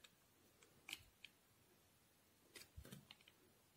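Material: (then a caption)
Soap. A solid white bar of soap held in the palm is shaved with a steel utility knife blade into curled strips. Quiet, crisp, bright scraping ticks come in short separate bursts, some with a soft low thump, and each dies away almost instantly.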